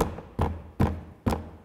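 A plastic car door panel is knocked four times to check what still vibrates, giving dull, low thuds with a brief buzzy rattle after each knock. Something still rattles, traced to plastic parts touching plastic.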